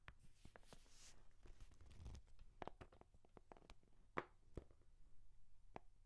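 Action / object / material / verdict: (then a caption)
scrape / leather notebook cover / leather / none. Long nails scratch and tap the cover of a book-sized brown leather journal held close to the microphone. Quiet, soft scraping mixes with a series of short, dry taps that die away almost at once, with one sharper tap near the end, over a low, muffled rumble.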